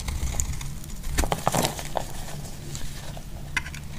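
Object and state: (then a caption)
Bar soap being shaved. A solid, hand-sized green bar of soap, held in a hand with long dark nails, is shaved and cut with a metal utility blade so flaky curls fall away. Soft, crisp scraping and crackling strokes with bright edges cluster near the middle of the clip over a low, steady background rumble.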